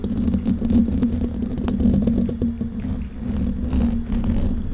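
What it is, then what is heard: Metal mesh microphone grille. Long painted nails on both hands scratch and tap the hollow, domed wire-mesh metal grille of a large silver condenser microphone throughout. The result is a dense, continuous rustling scrape with quick, close-packed taps over a strong low, buzzy hum near 200 Hz. The loudness stays fairly steady, with only brief dips.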